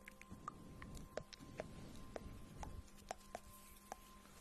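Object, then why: Glazed ceramic mug. Long nails tap on the glazed outer surface of a hollow pink ceramic mug shaped like an octopus, held in the hands. A series of short, quiet clicks with a faint ringing tone around 600 Hz sits over soft low rustling. Each tap dies away almost instantly.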